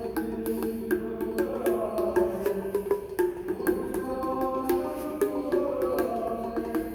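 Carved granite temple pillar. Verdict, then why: Solid. Carved granite musical pillars at the Vittala Temple in Hampi are tapped in an irregular series, each strike giving a short, clear bell-like tone, mostly in the mid range around 360 Hz. The tones differ from column to column because each pillar is one solid, not hollow, piece carved into columns of different diameters and designs.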